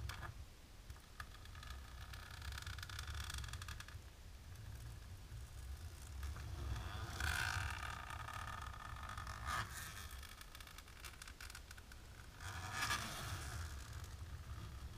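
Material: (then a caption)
Plastic. Long natural pink nails scratch across a flat, dark, embossed plastic sheet, making a steady, bright, textured scratching and rustling over a low background rumble. The scratching swells into louder, squeakier strokes with a tonal edge around 1.4 kHz at a few points before settling back.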